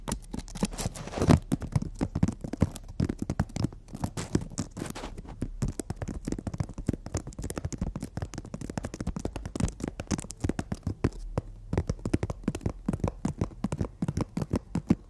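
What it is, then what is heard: Emery board nail file. Long natural fingernails tap and scratch the gritty surface of a long, flat, solid emery board nail file lying in front of the hands. The result is a dense, steady stream of quick, dry clicks and rough scrapes, weighted toward the low end with little high hiss, and each tap dies away almost instantly.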